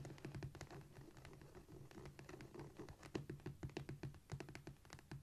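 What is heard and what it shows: Long nails scratch, tap and scurry across a flat, solid cork floor with both hands. The result is a quiet, steady stream of short, dry scrapes and taps with a soft low thump beneath them and almost no ring.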